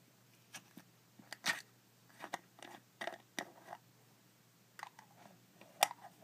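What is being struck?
Small glass jar with a plastic lid.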